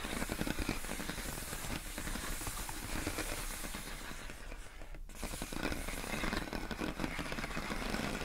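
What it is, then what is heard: Plastic air column packaging. Long acrylic nails tap and scratch the ribbed surface of clear, inflated plastic air column wrap around a pink box. The result is a steady, dense stream of crinkly, hissing scrapes and quick taps, with a brief dip in the sound around the middle before it picks back up.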